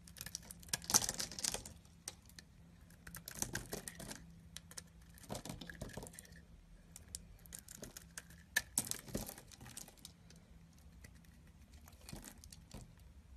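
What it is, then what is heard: Bar soap being shaved. A solid beige soap bar is held in the hand while its edges are shaved with a utility blade. Short, bright scraping and crisp crackling strokes come in bursts, with quiet pauses between them.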